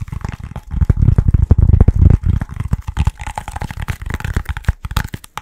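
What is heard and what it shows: A short, hollow yellow foam pool noodle section is held in both hands, then tapped and squeezed rapidly with the fingertips. It makes a fast, irregular stream of soft, dull, low thuds that stop dry with no ring, with lighter brighter taps toward the end.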